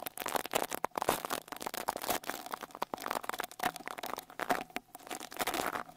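A small white-bristle rat-tail brush with a wooden handle is brushed over the metal mesh grille of the right X-Y microphone capsule on a Tascam Portacapture X8 handheld recorder. The result is a rapid series of close, scratchy, crackling strokes with bright bristle texture and a faint steady tone underneath, rising and falling in bursts throughout.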